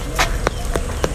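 A jackfruit hanging on the tree is flicked with a finger four times to check its ripeness. Each flick gives a short, dull, hollow tap with a low-mid tone and almost no ring, the hollow sound marking the fruit as ripe.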